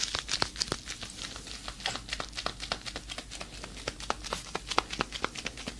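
Hands in black leather fingerless gloves, long nails left free, flex and rub their fingers close up, making the leather creak and crinkle. The sound is a quick run of short, dry, bright crackles and ticks over a faint steady low hum, each snap dying away at once.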